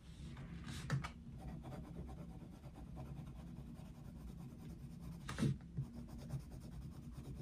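A dark wooden coloured pencil colours a Mickey Mouse picture in an open paper colouring book resting on a desk. It makes steady, quiet scratching and rubbing strokes that sit mostly low, with little brightness. Four louder, brief strokes stand out, one near the start and three close together toward the end.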